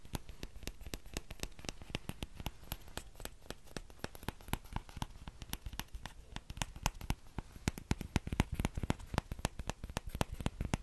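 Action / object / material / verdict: tap / small plastic ladle / plastic / none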